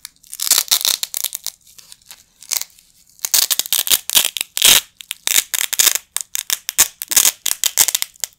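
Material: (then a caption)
Nylon. A pair of small, flat yellow nylon hook-and-loop Velcro patches, held in both hands with the fingertips over a carpet, is ripped apart again and again. The result is a series of bright, crackling tearing bursts, some quick and some drawn out, with a quieter stretch in the middle before the ripping picks up again.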